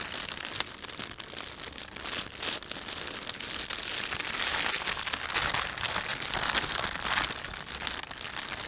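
Fingertips rub a thin, empty plastic shopping bag with a panda on it as it lies flat, producing continuous bright crinkling. The rustle swells in the middle of the clip and fades slightly toward the end.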